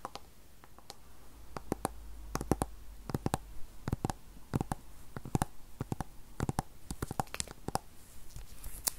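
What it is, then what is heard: Aluminum tablet back tapped with fingernails. Long fingernails tap and scratch the silver aluminum back of an Apple iPad 8th generation (2020), a thin, solid tablet about 25 cm tall with the Apple logo, held in both hands. Dozens of sharp, dry clicks come in irregular bursts with almost no ring, over a faint scratchy rustle and a low rumble.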